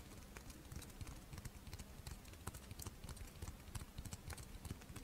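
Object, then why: Fish-shaped rice wafer monaka. Long nails tap and scratch the dry surface of a pink, fish-shaped strawberry rice wafer monaka held in the hands. The result is a quiet, rapid run of soft, crisp clicks and scrapes over a low, dull body. Each tap dies away almost instantly.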